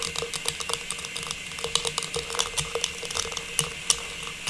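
A small hollow silver metallized plastic star tree topper is held upright in both hands and tapped and scratched with long pink nails. The result is a rapid patter of light, bright plastic clicks and ticks over a soft, thin scratching hiss, with each tap dying away almost instantly.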